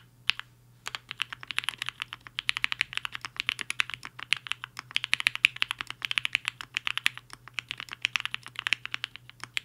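A black-cased 75% mechanical keyboard with a hollow case and white and pink plastic keycaps sits on a desk mat while the fingertips of both hands type on the keys. After a single click and a brief pause, a steady run of quick, sharp, bright clacks follows, each dying away almost at once with no low thump beneath them.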